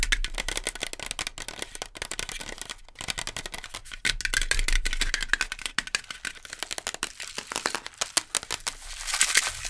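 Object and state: Instant noodle cup tapped and scratched with nails.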